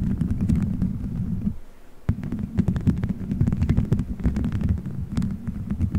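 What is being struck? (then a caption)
Gelatin gummy bears stuck on a microphone. Fingertips squeeze, rub and scratch colorful gelatin gummy bears stuck all over a microphone head in a solid dome shape. The result is a dense, low, muffled squishing rumble with many faint sticky clicks on top. It briefly drops out near two seconds before resuming.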